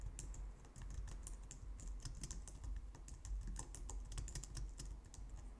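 Both hands type on a white plastic low-profile wireless keyboard with long painted nails and fingertips. A steady stream of quick, bright plastic clicks and taps runs over a soft low rumble.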